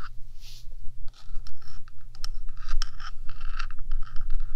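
Long fingernails on one hand scratch across the top of a 3Dio binaural microphone's small, hollow, rectangular metal box body. Dry, bright, rasping scrapes come in quick, uneven bursts over a steady low hum.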